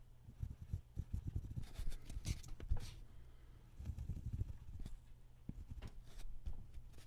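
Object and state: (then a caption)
Pen scratching on paper. A hand draws with a dark ballpoint pen on a thin white paper sheet lying on a wooden table, scratching the pen across the paper up close. The result is quiet, dry scratching in clustered bursts, mostly low and dull, with brief brighter strokes around the middle and near the end.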